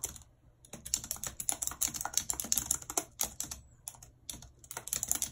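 A full-size white and silver plastic computer keyboard with a numeric keypad, lying on a map, is typed on quickly and continuously with very long red acrylic nails and fingertips. The hollow keys give off rapid, bright, clacking clicks with almost no ring, broken by two brief pauses.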